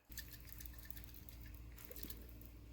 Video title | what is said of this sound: Snow Blower - Rebuild Carb | if you shake it, you can hear there's fuel in that float